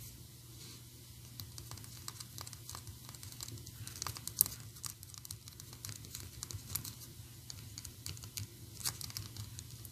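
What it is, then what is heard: Plastic figurine. A small, solid, painted PVC Anger figurine is held close and tapped rapidly with long orange and black acrylic nails. The taps come as a dense, quiet stream of sharp, dry clicks and light crinkly ticks over a steady low hum, with a few louder snaps standing out.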